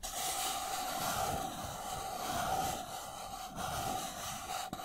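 An empty, hollow white disposable paper cup is turned in the hands while fingernails scratch and tap its side walls and rim. The result is a steady, dry scratching texture with a hollow mid-range resonance and bright upper hiss, broken by a couple of brief pauses near the end.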